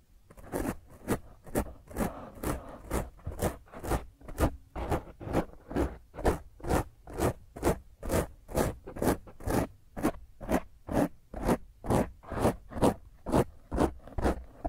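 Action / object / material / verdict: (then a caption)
scrape / foam microphone windscreen / foam / none. Long blue-grey fingernails scratch roughly over a black foam windscreen on a microphone. The scratches come as a steady train of short, raspy, broadband strokes, about two per second, with a low thump under each stroke and a bright hiss on top.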